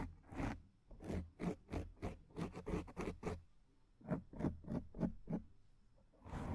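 Long nails scratch the front surface of a black foam microphone windscreen in 14 short strokes. Each stroke is a rough, papery scratch with a heavy low rumble beneath it. The strokes come in quick, uneven runs separated by brief quiet gaps.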